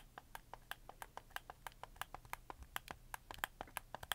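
A red camo plastic PS4 game controller, held up in both hands, as fingertips rapidly tap and click its shoulder buttons and triggers. About 25 short, dry plastic clicks with no ring, steady but uneven in force, each with a sharp mid and high click over a faint low hum.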